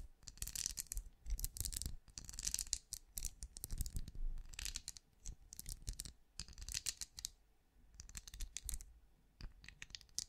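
Fingernails of both hands scratch and tap across the ridged translucent shell of a small, hollow, glowing plastic night lamp. Quick, delicate clicks and scratchy rasps come in dense, uneven bursts with bright, high crackle over a soft low thump, each tap dying out almost at once.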